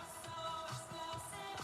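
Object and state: Nothing is struck.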